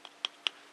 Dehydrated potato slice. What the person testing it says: It sounds solid, it feels solid.